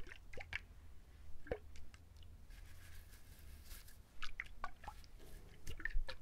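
A hand-sized whole trimmed coconut with a fibrous tan husk, solid and heavy-looking, is held in both hands near a binaural mic and scratched and tapped with fingertips and short nails. Soft, dull taps and dry scratchy rustles come in scattered bursts over a low rumble, with brief squishy, drip-like clicks.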